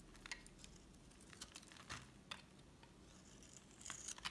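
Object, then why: Soap bar scraped with a metal blade. A solid white rectangular bar of soap is held in the hand and shaved with a metal utility knife blade, with the flakes falling onto a red board. Quiet, bright scraping and scratching cuts come in short bursts, each with a crisp, papery crackle and almost no ring.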